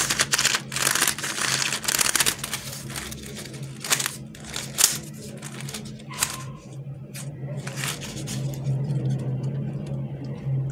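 A pink, palm-sized, hollow-tube fidget worm made of flexible plastic mesh lattice is held in both hands and pressed and squeezed with the fingertips. It gives off bright clicking, ticking and crinkling sounds in quick bursts over a steady low hum.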